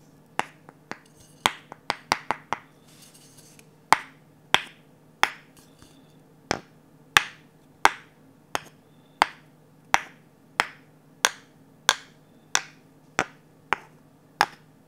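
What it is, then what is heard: Varnished wooden ladle. A glossy orange varnished wooden ladle with an empty bowl is tapped with a wooden stick. It starts with a quick, uneven flurry of taps, then settles into slow, evenly spaced taps. Each one is a short, bright, dry click with almost no ring.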